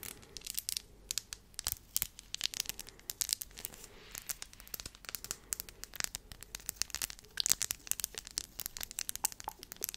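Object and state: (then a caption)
Glass gems on wooden disc tapped and scratched with nails. Long nails tap and scratch across flat glass gems glued to a small round wooden board. The result is a dense, rapid run of sharp, bright clicks and scraping ticks over a faint hiss, with almost no low end.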